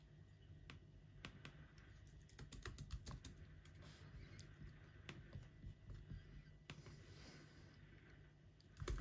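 Both hands type with their fingertips on the plastic keys of an aluminum laptop keyboard. Short, dry clicks land in an irregular run over a steady low hum. A louder cluster of taps closes the clip.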